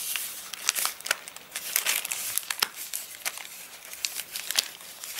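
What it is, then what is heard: Rain-dried paper catalogue. An open paper catalogue with crinkly, rain-dried pages is pressed and rubbed across the spread by hands, then a page edge is lifted and flexed with the fingertips. Dense, bright crinkling and crackling comes in rapid sharp snaps with almost no low end.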